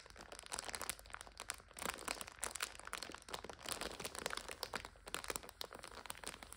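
A full plastic multipack of instant noodles lies on its side while hands squeeze and crinkle it and long nails scratch across the plastic. The result is a steady, bright, crackly crinkling with many quick, sharp crunches that swell and fade in uneven waves.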